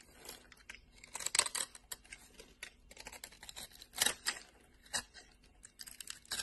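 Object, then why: Bar of soap scraped with a metal blade. A solid orange bar of soap is scraped with a flat metal blade, curls and textured flakes forming. Irregular, dry, crisp scraping and crackling strokes sound bright and hissy, with almost no low end and no ring after each pass.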